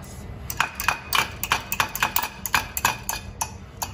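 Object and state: Hydrogen-free steel sample, ductile (bends under hammering).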